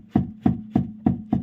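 Five dull, evenly spaced thuds with a low tone around 220 Hz and a short ring come from striking an Audi A6 C5's steering rack upward. Struck this way, the rack gives no knock; the knock appears only when it is struck downward.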